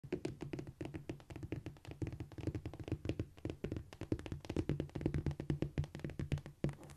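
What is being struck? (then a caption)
Cork floor. Fingers tap, scurry and scratch across a cork floor in a steady run of soft, dull, low-pitched taps. Each tap dies away almost instantly, with no talking.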